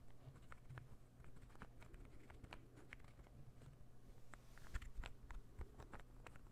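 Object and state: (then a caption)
Wooden ball puzzle, tapped and scratched. A small, solid, assembled interlocking ball puzzle made of light wood is held in one hand and tapped and scratched with fingernails while being brought toward the mic. A quiet, steady patter of short, dry clicks and scratchy ticks plays over a constant low hum, growing slightly louder and closer toward the end.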